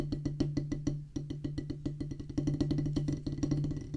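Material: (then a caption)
Rubber. Two wooden drumsticks drum fast on a solid oval practice pad with a black rubber top set on a pressboard or wood base. The result is a rapid run of dry, knocking taps with a low thump and a hollow tone near 285 Hz, each dying away quickly. A brief gap near the one-second mark interrupts the strokes before they resume even denser.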